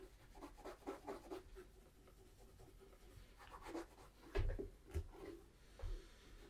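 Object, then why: Leather boot. A hollow, empty tan leather Tricker's Stow brogue boot in Acorn is held up and polished with a cloth wrapped around the fingers, rubbed along the toe and side. Soft, muffled rubbing strokes carry a faint low hum, broken by a few duller low bumps from the cloth pressing into the hollow boot. The whole clip stays quiet and dark, with almost nothing bright.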